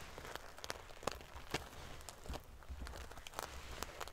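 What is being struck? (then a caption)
Pillow covered in metal sequins. Fingernails scratch and ruffle the silver metal paillettes covering a sequin pillow. A quiet stream of crisp, bright clicks and prickly rustles sits over a low rumble, with sharper, louder ticks standing out now and then.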